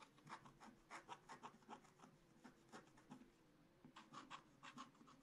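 A wooden stylus scratches continuous strokes into a black-coated scratch-art card in a spiral book. The result is a quiet, dry, rasping scrape that pulses in a quick run of short strokes, each with a bright, papery grain centered around 1 kHz. A faint steady tone stays underneath.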